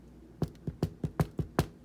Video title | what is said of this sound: Baking Bread Part 2 | it sounds pretty hollow to me